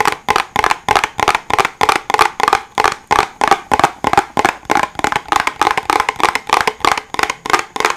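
Fingertips tap a small, hollow white cardboard box held above a microphone, making about 32 quick, dry, hollow knocks in a steady, slightly uneven rhythm. Each tap is short, with a boxy midrange tone around 800 Hz, a little bright click, and almost no low end.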